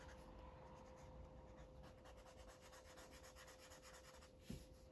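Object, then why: Felt-tip marker on a stack of paper pages. A felt-tip Sharpie marker rubs back and forth across a thick stack of white paper coloring-book pages lying flat on a cloth surface, while the other hand holds the pages. Soft, steady scratchy strokes repeat in a quiet rhythm over a faint constant hum, and a brief louder bump lands near the end.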